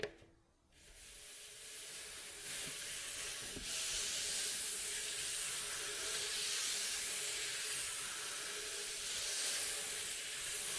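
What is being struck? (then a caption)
Varnished wooden bowl back of a mandolin. Fingertips and nails scratch and rub over the varnished staves of a mandolin's hollow, glossy, striped wooden bowl back. After a brief near-silent start, a steady, bright, hiss-like scraping builds and continues throughout, with a faint low-mid tone humming underneath.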